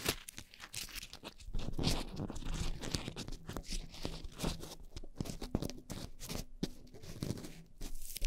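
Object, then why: Foam microphone windscreen. Long painted nails and fingertips scratch two black foam windscreens on upright microphones. The result is a dense, close stream of soft crackling, rubbing scrapes and crunchy tearing sounds. The scratching is heavy in the low end and comes in quick, dry strokes that swell and fade across the clip.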